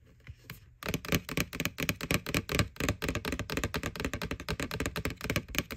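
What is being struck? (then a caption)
Plastic candy bucket. Long nails tap on the side wall of a small, hollow white plastic ghost-shaped Halloween candy bucket from McDonald's, over its printed face. After a few faint taps, a rapid, uneven run of crisp, hollow clicks begins, each with a short low thunk and almost no ring.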